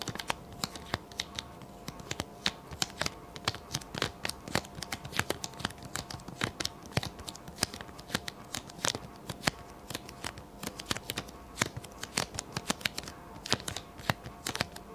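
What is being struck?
Paper sticky note pad.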